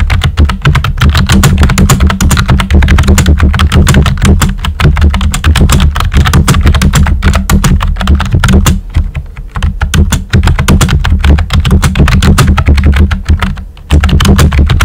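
Fingertips with short nails type quickly on a pink and white plastic computer keyboard with round, typewriter-style hollow keycaps. The result is a dense, steady stream of hollow clacks with a strong low thump, a faint bright tick on top, and brief lulls near the middle and just before the end.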